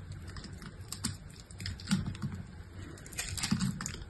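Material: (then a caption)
Soap. A solid pink striped bar of soap, held in the hand, is scored and sliced with a utility-knife blade into small flakes. Soft scraping and crisp, dry crackling ticks run throughout over a low, muffled rumble. Louder, brighter cuts come near the one-, two- and three-and-a-half-second marks.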